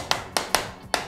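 A hammer taps the front housing of an Eggel Terra 3 Neo RGB portable Bluetooth speaker four times to test its build quality. Each tap is a short, bright knock that dies away quickly. The housing is judged solid.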